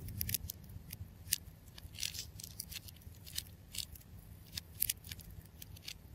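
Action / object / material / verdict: scrape / ball of wound clear adhesive tape / plastic tape / none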